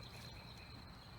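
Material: Nothing is struck.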